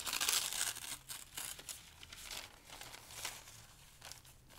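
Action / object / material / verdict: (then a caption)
scrape / thin paper sheets / paper / none. Several large, thin, light pale-green paper sheets on a dark table are crumpled and torn between the fingertips of both hands. Bright, crackling crinkles and short tearing rips come in irregular bursts, loudest at the start and then settling into quieter rustling.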